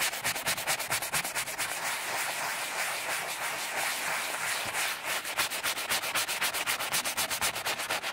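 A horsehair brush held in the fingers scrubs in circles over a small vintage Gucci Sima bifold wallet of embossed leather, lying flat and covered in saddle soap foam. Quick, rhythmic strokes make a bright, hissy bristle scrub with almost no low end; they blur into a steady wash in the middle before the separate strokes return.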